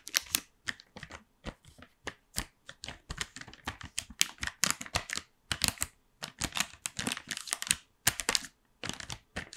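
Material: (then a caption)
Plastic. A gold plastic blister tray full of chocolates, set in a white cardboard frame, is held and tapped with long nails. The result is a rapid, irregular run of sharp, bright, crinkly plastic clicks and taps with almost no low end, each dying away instantly, with brief pauses between bursts.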